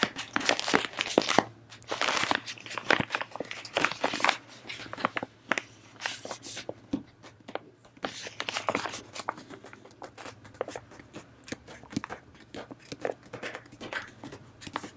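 A full, hand-sized, pink soft-plastic resealable pack of face wipes is held in both hands and squeezed and crinkled with long manicured nails and fingertips. Dense, crisp crinkling and crackling comes in bursts of sharp, quick-decaying snaps, with little low end and a faint steady hum underneath.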